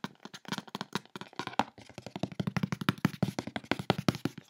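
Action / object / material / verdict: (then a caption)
scrape / corrugated cardboard box / cardboard / none. Fingertips and long nails quickly scratch and rub across the side and top of a large, closed, brown corrugated cardboard shipping box lying on a bed. About 36 short, dry, hollow taps and scrapes come in a fast run, with a low thudding body. Each one dies away almost immediately.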